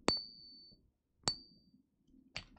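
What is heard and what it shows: A pure silver coin is flipped in the hand, giving three bright metallic pings. The first two leave a clear high ring that fades over about half a second, and the third is shorter. The ringing tone is taken as a sign that the coin is real silver.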